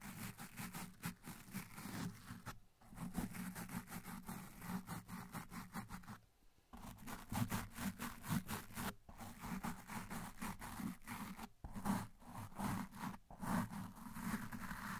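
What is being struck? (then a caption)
Foam microphone windscreen. A blue plastic toothbrush with white bristles is brushed quickly back and forth over a large, dark, soft and porous foam windscreen that covers a microphone's hollow cap. Rapid, scratchy brushing strokes come through with a muffled, low-heavy rustle. The strokes pause briefly around 2.5 and 6.5 seconds and continue steadily in between.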